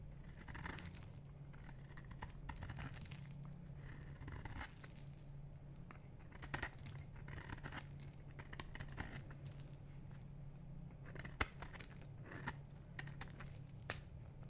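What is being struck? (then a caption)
Bar of soap. A metal knife blade scrapes a solid black and white striped bar of dry soap held in the palm, peeling off shavings. The result is a continuous dry, crinkly scraping and tearing texture with bright crunchy bursts over a steady low hum, and one sharper crack stands out near the end.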